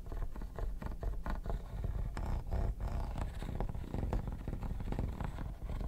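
Metal tweezers scratch back and forth across the textured, quilted top of a hollow, mint-green hard plastic vanity case. The result is a steady stream of dense, raspy scraping strokes with a low, hollow, rumbling body and little bright content.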